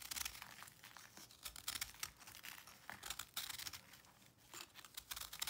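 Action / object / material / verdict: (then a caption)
scrape / pressed salt block / salt / none. A knife blade scrapes and cuts chunks off the edge of a round, solid white pressed salt block held in the hand, with crumbs falling onto a dark surface. The sound is a dense run of quiet, bright, dry crunching and crackling, with sharp gritty bursts that stop instantly and carry almost no low end.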